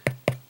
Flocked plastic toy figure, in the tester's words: tapping it, it does feel like it does have a hollow feel to it